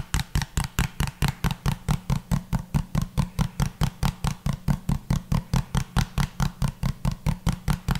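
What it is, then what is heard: Hollow plastic bottle. A small, hollow pink plastic bottle with a pink cap, held upright, is tapped with the fingertips close to the microphone. A steady, fast run of 37 short, dull, low taps sounds over eight seconds, each with a faint bright click on top and almost no ring after.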